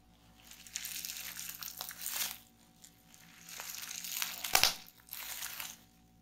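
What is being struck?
Plastic bubble wrap.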